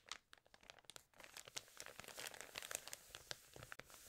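Fingertips and nails rub, scratch and turn the pages of an open, water-damaged glossy paper fashion magazine. The result is a dense run of dry, bright crinkles and crackly rustles with sharp little snaps, and almost no low end or ring.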